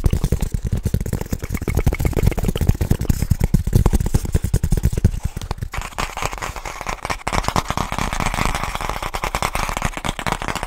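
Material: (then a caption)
Wood. The closed wooden cover of what is likely a book lamp, a flat rectangular wooden object held in both hands, is tapped and scratched quickly with fingertips and nails. For about the first five seconds, dense, dry, low taps thud with almost no ring. The second half shifts to brighter, rasping scratches over continued rapid tapping.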